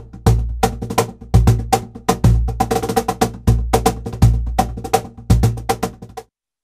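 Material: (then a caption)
Plywood. A seated player slaps and taps the thin 3 mm birch plywood front panel of a large hollow cajon, about 47 cm tall with an MDF body, using bare palms and fingertips. The pattern mixes deep, booming bass slaps with quicker, snappy taps that each ring only briefly. The groove stops after about six seconds.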